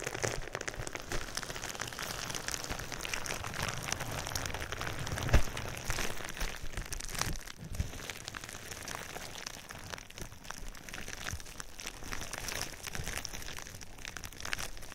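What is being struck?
Plastic bubble wrap.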